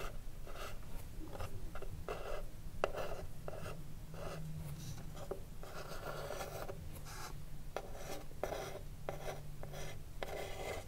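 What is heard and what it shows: Long blue acrylic nails scratch and tap the front face of a small hollow wooden cigarillo box with gold print, standing upright with its lid closed. Dry, rasping scratches come in short repeated bursts with a mid-range woody tone, over a steady low rumble. Quick, muted taps with almost no ring are mixed between the strokes.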